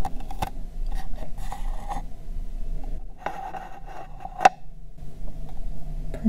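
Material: Plastic.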